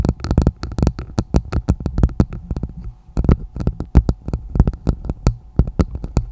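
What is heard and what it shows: Long nails on both hands tap and scratch the bowl of a hollow, empty red plastic martini glass set upside down over a microphone. A quick, uneven run of dry taps lands as deep, hollow thuds with bright clicky tips that die away almost instantly. Soft scratchy rustles fill the gaps between taps.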